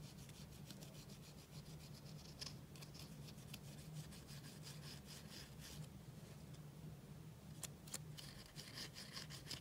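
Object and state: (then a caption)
Pressed powder eyeshadow being scraped. A pink plastic spatula scrapes and crumbles blue pressed powder eyeshadow in a black plastic palette held close, breaking it into loose powder. Soft, bright, rapid scratching strokes repeat throughout over a low, steady hum.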